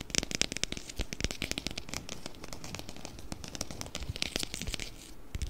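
A small round clear plastic food container with a blue lid, filled with colorful orbeez, is held in both hands and tapped quickly with fingertips and nails. It makes a rapid, steady stream of crisp, dry clicks and taps with a bright, crackly edge over soft low thumps, each tap dying away at once with no ring.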